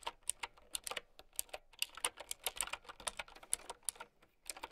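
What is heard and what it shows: A mint-green, typewriter-style mechanical keyboard with round plastic keycaps is typed on with long nails and fingertips. Rapid, uneven streams of sharp, bright plastic clicks and clacks follow one another, each dying away almost instantly, with almost no low end beneath them.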